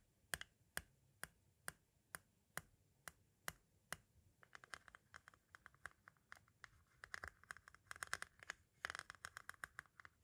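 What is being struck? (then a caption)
Plastic audio cassette shell. A pointed tool taps the face of a small, hollow white hard-plastic audio cassette shell nine times at a slow, even pace, each a sharp, dry click. It then shifts to quicker, denser tapping and scratching across the face, giving a brittle, bright clatter with no ring.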